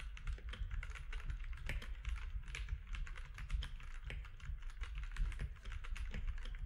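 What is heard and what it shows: Fingertips of both hands type steadily on a compact grey-and-white mechanical keyboard with plastic keycaps resting on a desk. The result is a continuous stream of short, sharp clicks and clacks that die away quickly, over a constant deep low hum.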